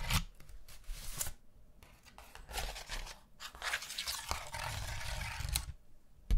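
A round pastel paper hand fan with a bamboo handle, thin and flat, is scratched by long nails. Dry, bright scratching and rasping come in uneven bursts with short pauses between them, and a sharp tick lands at the very end.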